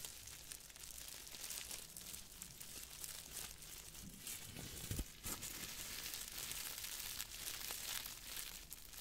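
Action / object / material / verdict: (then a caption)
shake / plastic bubble wrap / plastic / none. A small wad of clear plastic bubble wrap is squeezed and crinkled between fingers close to the mic. Dense, bright crackling and rustling run throughout, with a louder, fuller crunch near the middle before the steady crinkling continues.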